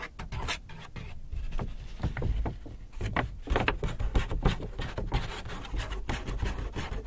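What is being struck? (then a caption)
Paper shopping bag. Fingertips and a palm rub and crinkle the front surface of a large, hollow, apparently empty white paper Hudson's Bay shopping bag. The result is a steady run of dense, dry rustling and crackling with short, bright crinkle bursts over a low, papery rumble.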